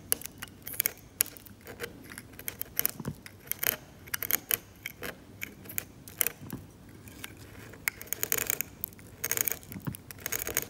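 A metal scalpel scrapes the paint layer of a glossy, cracked, varnished oil painting on canvas in rapid, short strokes. Bright, dry scratching bursts come in clusters with quiet gaps between them, and each stroke cuts off with almost no ring.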